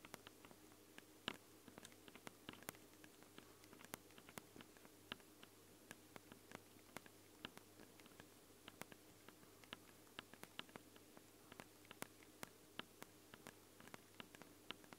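Long blue nails tap and scratch directly on both X-Y microphone capsules of a Tascam handheld recorder, which have ridged metal grilles, red rings and a black plastic body and are small and hollow. A quiet, uneven stream of sharp, dry clicks and faint scratches rises over a steady low hum and noise floor, each tap dying away almost instantly.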